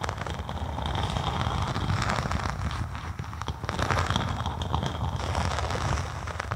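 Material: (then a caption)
Vinyl. Long acrylic nails scratch and tap a thin faux snakeskin synthetic leather vinyl sheet draped over a binaural microphone. The result is a dense, steady crackling scratch over a deep, bassy rumble of muffled thumps, with brief bright rasps flickering throughout.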